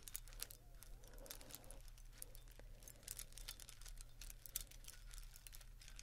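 Fingers handle and rustle a bundle of lit Christmas string lights with plastic bulbs and wires. Bright, crinkly plastic clicks and rustles come in quick, irregular bursts over a steady low hum.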